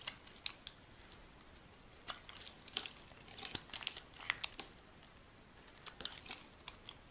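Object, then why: Bar of soap cut with a metal blade. A solid rectangular bar of dry white soap, held in the hand, is carved with a metal blade into thin shavings. Quiet, crisp scraping and crackling cuts come in short, irregular bursts with a bright, papery crunch. The sound has almost no low end and each cut stops dead.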